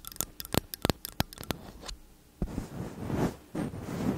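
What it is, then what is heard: Metal condenser microphone body. Long nails tap and scratch the metal caps and upper bodies of two slim cylindrical metal condenser microphones. A quick run of sharp, dry clicking taps comes first, then a short lull. Close, rustling scrapes follow in longer swells.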